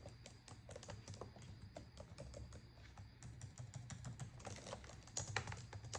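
Rapid typing with long acrylic nails and fingertips on a black plastic laptop keyboard produces a dense stream of short, bright key clicks. A steady low hum runs underneath, and the tapping grows a little louder and busier near the end.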